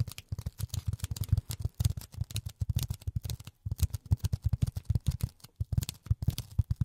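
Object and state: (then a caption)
Polyethylene foam block. A rectangular, solid, dark grey polyethylene foam block, held in both hands in front of the mic, is tapped and scratched with silicone rubber pads over the fingertips of long natural nails. A rapid, uneven run of soft, dull thuds, deep and low with faint bright scratchy edges, each dying out almost instantly. There is a brief pause just past the midpoint before the tapping resumes.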